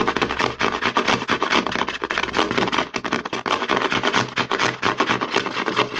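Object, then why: Plastic lotion bottle. A hollow white plastic CeraVe lotion bottle is held in the hand while fingertips and short nails rapidly scratch and tap its side and front. The result is a dense, continuous stream of dry, hollow clicks and scratchy rasps, centered in the mids around 400 Hz with bright hiss on top. Each tap dies away almost at once.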